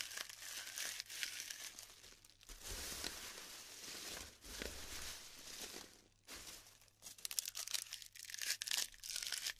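Hands rub and crumble clumps of glued styrofoam balls in a tray, giving bright, dry crinkling and crackling with scattered sharp snaps and pops. The sound comes in bursts of rustling grains, with quieter gaps between handfuls.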